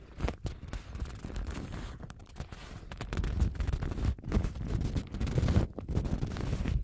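A thin printed paper napkin with a lemon pattern is held, rubbed and crinkled with long gold-painted nails and fingertips. Soft, irregular rustling and crackling runs throughout, with bursts of crinkling that swell and fade, dominated by low muffled handling noise with little high brightness.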